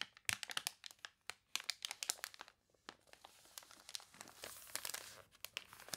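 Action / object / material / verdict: scrape / thick glossy paper catalog pages / paper / none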